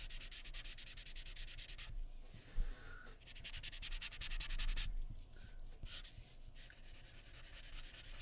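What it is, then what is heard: Pencil shading on drawing paper. A graphite pencil held in the fingers shades a portrait on a sheet of white drawing paper lying flat on a wooden table, using quick back-and-forth strokes. A steady, bright, papery scratching runs through the clip, easing off in brief lulls around two and five seconds before resuming at a similar pace.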